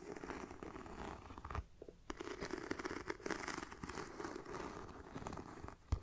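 Fingertips and nails scratch the textured front of a hollow black pebbled faux leather mini backpack near the zipper and webbing. The result is a steady, soft, raspy scratching with crinkly texture. It breaks off briefly just before the two-second mark and ends with a couple of sharper scrapes.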